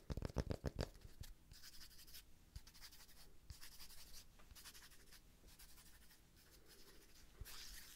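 Fingernails scratch across the flat face of a thick, solid, palm-sized round cork disc held in one hand. A quick flurry of sharp, low scrapes opens the clip, followed by longer dry rasping strokes with a bright hiss, separated by brief pauses over a soft low rumble.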